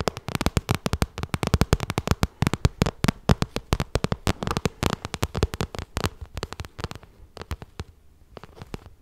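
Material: Vinyl.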